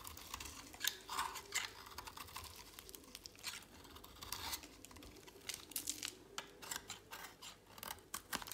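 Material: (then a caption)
Soap. A utility knife blade shaves a solid, dry, pale green soap bar held in a hand. The result is a rapid run of short, dry, crisp scraping and crunching bursts, bright and high with little low end, each stopping almost instantly.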